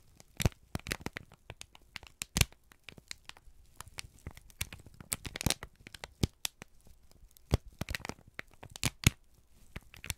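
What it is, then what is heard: Kraft paper sheet. A folded, crinkled sheet of brown kraft paper is held in both hands and squeezed and crumpled with the fingertips. Dense, dry crackles and sharp crinkling snaps come in irregular bursts, bright and papery with a soft low rustle underneath. Each crackle stops almost instantly with no ring.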